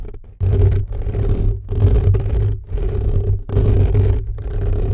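Fingertips of both hands scratch fast and hard on the hollow metal mesh grille of an upright black condenser microphone. The result is a dense, low, rumbling scrape centered near 94 Hz, coming in long bursts separated by brief quiet gaps.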